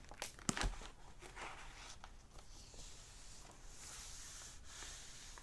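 Fingertips and short nails tap and rub the printed paper pages of an open hardback library novel lying flat on a wooden table, a solid stack of paper. Three quick, dry taps come near the start, followed by a soft, steady papery rubbing with a bright hiss through the rest of the clip.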